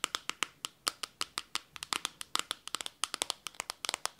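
Long teal nails tap rapidly on the glossy glass back of a blue smartphone held near the microphone. About 29 sharp, bright clicks land in quick, uneven succession, each dying away almost instantly with no low-end body.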